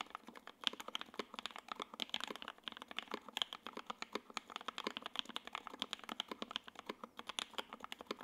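Both hands type continuously with their fingertips on a J-02 WKL 60% mechanical keyboard with Tangerine switches, ABS keycaps, a gray aluminum case and a carbon fiber plate. The result is a steady stream of short, bright, clacky keystrokes with almost no ring, centered around 3.2 kHz and carrying no low rumble.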